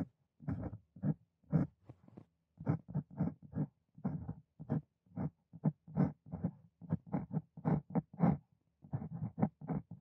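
A steel nib on a wooden dip pen scratches strokes across a hole-punched loose-leaf notebook page resting on a desk. Short, low, papery scratching bursts come in an uneven writing rhythm, separated by brief pauses as the hand lifts between strokes.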